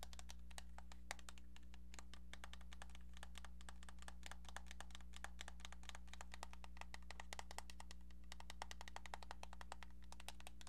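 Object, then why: Plastic telephone handset. Long painted nails tap rapidly and unevenly on a pink, hollow plastic cordless-style phone handset with a keypad, making a quick stream of sharp, light clicks. A steady low hum sits underneath the quiet tapping throughout.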